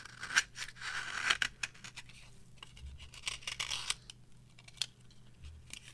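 A metal knife carves and scrapes a varnished, dry yellow bar of soap held on a palm. Crisp, bright scraping strokes and dry crackling shavings are broken up by short, sharp clicks as the blade bites into the hard surface.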